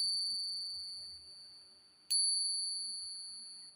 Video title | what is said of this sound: Alamin sa tunog pa lang malalaman mo kung Silver o Hindi, TRADITIONAL SILVER TESTING o Ping Test | Naiiwan ang kanyang echo